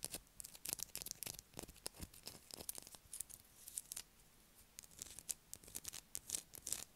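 Long acrylic nails scratch a solid blue bar of soap held in the hand. The result is a quiet run of quick, dry, bright scratching and ticking sounds with almost no ring, broken by a short lull midway.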